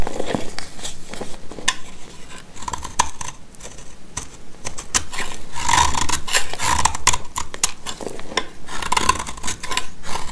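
A black utility knife blade scrapes and cuts powdery shavings from a solid, white, rounded, hand-sized bar of dry soap held in the hand. Dry, crisp scraping strokes come in quick, uneven succession, with a faint squeaky tone near 1 kHz on some passes. The cuts leave only a very brief ring after each stroke.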